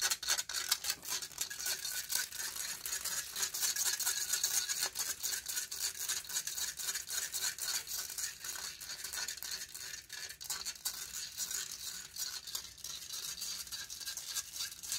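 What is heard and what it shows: Long painted fingernails scratch rapidly and continuously across the hollow metal mesh grille of a silver condenser microphone. The result is a dense, uneven stream of bright, raspy scrapes with almost no low end, each stroke dying away instantly.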